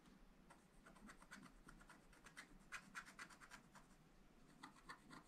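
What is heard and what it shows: A wooden stylus scratches and rubs the coating of a black, wax-coated scratch-art page in a small spiral-bound pad of thin, flat paper. The result is a quiet series of short, dry, bright scratching strokes, each fading almost instantly, with a faint low rumble underneath.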